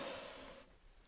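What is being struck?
Nothing is struck.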